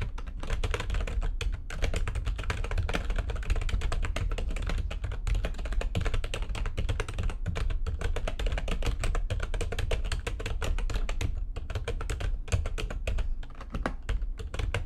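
Fast typing with long nails and fingertips on a full-size plastic backlit computer keyboard makes a dense, continuous stream of short, crisp clicks and taps. The clicks run at a fairly even level for the whole clip over a steady low hum.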